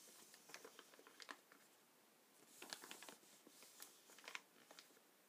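Fingertips press, rub and scratch the surface of a black plastic bag full of gelatin paintballs lying on a glass table. The result is quiet, bright plastic crinkling and scratching, broken by short, sharp ticks and clicks with almost no low end.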